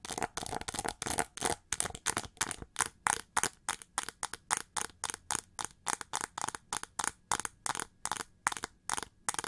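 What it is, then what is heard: Plated plastic hair brush. Long nails scratch fast across the ridged feather texture of a winged, gold chrome-plated plastic hair brush held upright. The result is a steady run of short, dry, bright scratching bursts with quick crackly edges and almost no ring between strokes.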